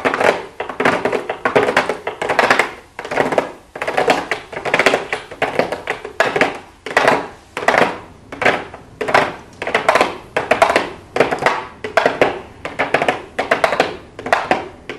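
Long blue acrylic nails tap and lightly scratch on a small, hollow pink cardboard makeup box with a clear plastic window. The quick, hollow, clicky taps come in steady, rhythmic bursts with bright edges, almost no low end and a short, dry decay.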